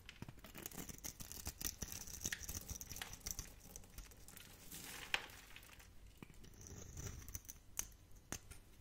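A metal blade carves and scrapes crunchy cubes off a solid, hand-held, pink-and-white striped bar of dry soap. The result is a steady run of soft, dry crackling and scratchy scraping, dotted with many brief, bright clicks and snaps as small pieces break away.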